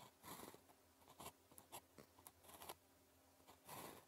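A blue plastic ballpoint pen, held in the fingers, writes on a thin grid-printed calligraphy practice sheet lying flat on a desk. Short, bright scratching strokes come in bursts over a low, steady background hum.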